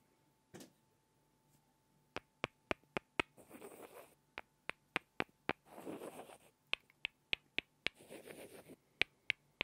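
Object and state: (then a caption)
Pair of wooden blocks. Two small, solid light-wood cubes are knocked together by hand, producing 18 sharp, bright, dry clicks that stop instantly with no ring. Between the clicks come three longer stretches of soft, breathy rustling noise, and a single muffled knock is heard near the start.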